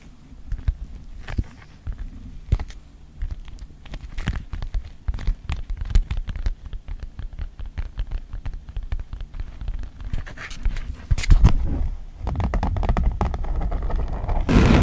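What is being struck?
Thin plastic folder with textured surface.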